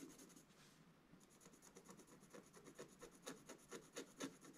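A wooden-handled scratch stylus scratches away the coating of a thin, flat, black scratch-art paper page in a book, held down by one hand, revealing the colours beneath. Quiet, dry, rasping scratch strokes repeat at about two per second, growing sharper, louder and brighter toward the end.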